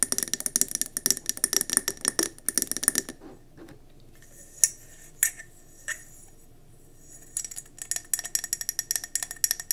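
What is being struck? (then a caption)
Glass candle jar. Fingernails tap quickly on a round gold mercury glass candle jar, first as it sits on the table and then as it is tilted in the hand. The bright, clicky glass taps come in dense bursts with almost no ring, then thin to a few scattered taps over a quiet stretch before the rapid tapping picks up again.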